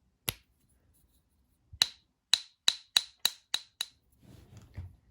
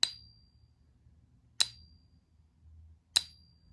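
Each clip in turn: First: Eight dry, clicky taps with no lasting ring: a gold-plated tungsten counterfeit coin that will not ping. Second: Three bright taps, each a clear high ping that fades within about half a second: a genuine pure gold coin.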